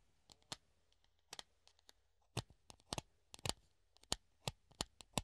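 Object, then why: Clear plastic funnel. A hollow clear plastic funnel held in the hand is scratched and tapped with the nails, giving 14 quiet, separate clicks and scrapes. Each one is a short, bright, dry tick with almost no ring, over a faint low hum and soft scratching between taps.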